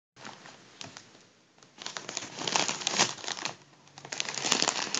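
Fingertips squeeze and crinkle the thin foil of a large, hollow, partly deflated gold metallic mylar number balloon. Dense, bright crackling rustles come in irregular bursts, softer at first, then louder and busier toward the end.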